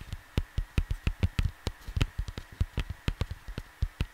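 Fingertips tap the cover of a flat cardboard vinyl LP jacket lying on a desk, giving a rapid, uneven run of nineteen dull, low thumps. Each tap is short and dies away almost at once, with little brightness.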